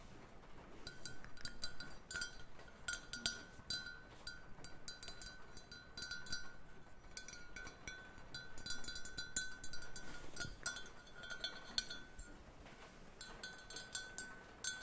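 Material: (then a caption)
Ceramic. A small glazed ceramic mug shaped like a deer with antlers, white and orange, hollow and apparently empty, is held in the hands and tapped with long painted nails. Quick, light, bright clinks and taps patter throughout over a faint steady ringing tone. Near the end the mug is turned to the side.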